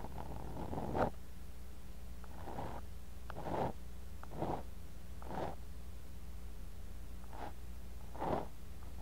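A thin bamboo ear pick repeatedly digs and scrapes through kinetic sand in a clear glass cup, close to a mini mic buried in the sand. Each stroke is a soft, gritty, muffled scrape that swells and fades in the midrange, over a steady low hum. The strokes come as separate bursts spread across the clip.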